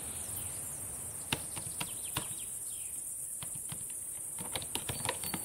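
Long painted nails and fingertips tap on the plastic keys of a black laptop keyboard, making sharp, scattered clicks that come in uneven bursts. The clicks are quiet and sit over a constant bright hiss.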